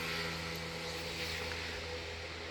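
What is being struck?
Nothing is struck.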